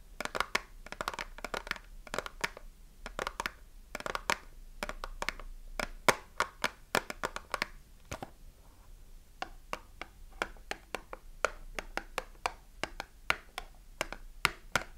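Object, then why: Cardboard soap box with a soap bar inside. Long nails tap the front and side of a small cardboard soap box with a bar of soap inside, while the box is held in both hands and squeezed. The sound is a steady run of sharp, dry, bright taps, some in quick clusters and some slower, each dying away almost instantly. A faint papery crinkle sits underneath.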